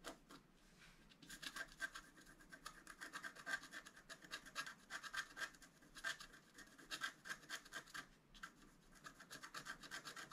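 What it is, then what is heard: Scratch art board being scraped. A wooden stylus scratches the coating off a flat, black-coated scratch art card around the flowers and antlers. The sound is a quiet, dry, bright scraping made of rapid, uneven strokes with short pauses, each stroke giving a light rasping hiss with almost no low end.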